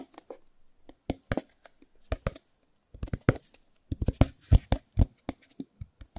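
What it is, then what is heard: Cardboard box. Fingertips tap and scratch the corners and sides of a small white cardboard Chromecast box held close. The result is an irregular run of short, dry, hollow taps with no ring, mostly low thuds with brief bright scratchy edges. The taps grow louder and denser toward the end.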